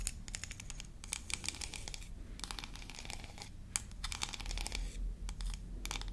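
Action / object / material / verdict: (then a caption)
scrape / small painted wooden comb / wood / none. A small, solid, yellow-painted wooden toy comb from a hair-dryer play set, flat with wide teeth, is scratched and flicked along its teeth with long nails. This gives quick, uneven bursts of dry, bright clicks and scratches over a low, steady rumble.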